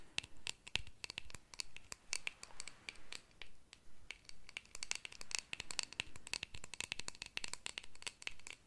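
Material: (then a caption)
Metal. Long nails scratch and tap quickly and unevenly across the surface of a small, round, shiny, hollow metal compact or tin held in the fingers. Sharp bright clicks come in clusters over soft scratchy rustling, with a faint metallic ring near 2.7 kHz that dies away almost at once after each tap.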